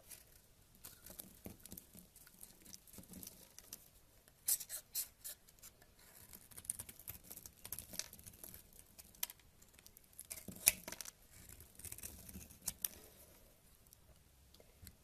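A purple knife blade scrapes a solid tan bar of soap, and crumbly flakes fall off it. Quiet, bright, crackly scraping and rasping continues throughout, with louder crisp bursts near the middle and toward the end before the bar is held in the hand.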